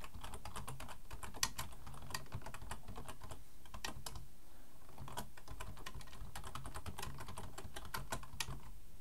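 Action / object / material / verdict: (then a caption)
tap / plastic computer keyboard / plastic / none. Both hands type fast with their fingertips on a black plastic full-size computer keyboard resting on a wooden desk. A rapid, steady stream of short, bright plastic key clicks sits over a constant low rumble, with no pauses across the clip.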